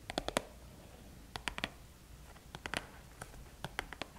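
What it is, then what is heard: Cardboard box tapped with nails. Long painted nails tap and scratch the top of a small, flat, red Sephora VIB Rouge cardboard gift box, closed and apparently holding items, as it lies on a table. About fifteen short, crisp clicks come in quick clusters with quiet pauses between them, over a faint soft scraping.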